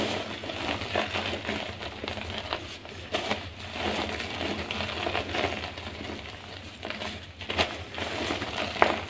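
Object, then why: Gym chalk blocks. Bare, chalk-covered fingers with long nails grab chunks from a pile of dry, solid white gym chalk blocks in a tray and squeeze them until the soft blocks crumble into loose powder. The result is a steady, dry crackling crunch with bright gritty texture and a few sharper snaps as pieces break apart.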